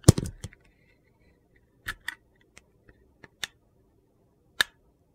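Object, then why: Glitter-coated soap bar. A utility knife blade peels thick curled shavings off a solid orange soap bar with a glitter stripe. A dense, crunchy scrape opens the clip, followed by sparse, short, crisp cuts and clicks separated by near-silence.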